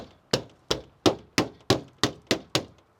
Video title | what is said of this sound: Ma Jeep Méritait un Nouveau Plancher | ça sonne plus dur et plus... je sais pas comment te dire. Ça fait plus... ça fait moins de rebond.